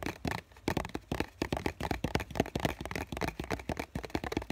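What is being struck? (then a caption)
Cardboard tissue box. Fingertips and nails tap and scratch the printed side of a small hollow cardboard tissue box with a green floral print. A quick, uneven run of dry, hollow taps and papery scratches follows, each dying away almost instantly with a soft low thump under a brighter rasp.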